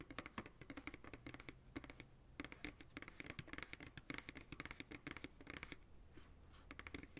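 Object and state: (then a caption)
Empty plastic pail, hollow. Fingertips and nails tap and scratch quickly on the sides of an empty, hollow white plastic ice cream pail held by its sides. The result is a dense run of short, dry clicks with a hollow body around 280 Hz and bright scratchy edges, with each tap dying away almost instantly over a faint low hum.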